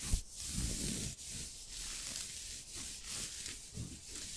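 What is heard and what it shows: Fingertips and short nails scratch and rub the chest of a soft green knit turtleneck sweater worn on the body, close to a microphone. A steady, soft hiss of fabric friction with high, bright scratchy texture and low rubbing swells runs continuously, rising and falling in short strokes with brief dips between them.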